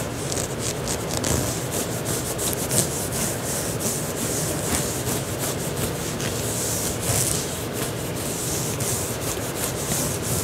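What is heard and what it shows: Fingertips and short nails of both hands scratch and rub a soft, thin olive green knit fabric tank top being worn, near the shoulders and collar over the chest. A steady, dense scratching and rubbing texture carries bright, airy hiss over a soft low rumble. The level stays even throughout, with faint brief swells.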